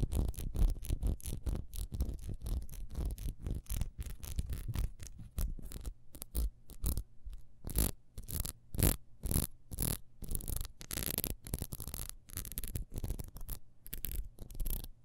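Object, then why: Ribbed beeswax candle. A solid, hand-sized, beehive-shaped yellow beeswax candle with ribbed sides and a wick is held in the hands and scratched fast along its ridges with long almond nails. The result is a quick, uneven run of short, dry scratches with a low rumble and bright, hissy bursts.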